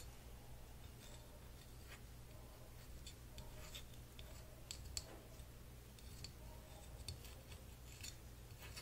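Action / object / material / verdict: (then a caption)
scrape / small flat wooden puzzle piece / wood / none. A small, flat, solid printed wooden lion-shaped puzzle piece is held up in the hands and scratched with short fingernails and fingertips. Quiet, dry, bright scratching and clicking bursts come in short irregular strokes over a steady low hum.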